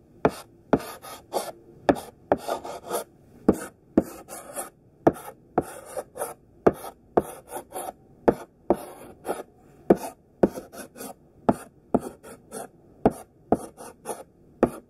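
A thick pink sidewalk chalk stick held in the hand draws a dense grid of squares on a flat black chalkboard. About 22 short, sharp scratching strokes come in an uneven rhythm, each a bright, gritty scrape with a quick onset that dies away almost at once. Softer rubbing fills the gaps between strokes.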